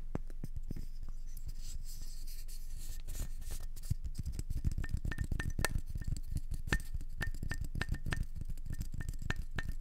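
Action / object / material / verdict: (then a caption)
tap / wooden candle jar lid / wood / none. Long nails tap and scratch the rim and flat face of a solid, round wooden candle jar lid with a small dark metal handle, held in both hands. The result is a dense, irregular run of quiet, dry clicks and scratches with a dull low thump, some taps carrying a faint short ring near 1.8 kHz.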